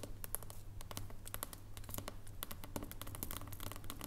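Long nails scratch and tap a solid embossed dark chocolate bar standing on its edge. The result is a quiet, rapid stream of short, dry, bright clicks and scrapes over a steady low hum, with no ring after each tap.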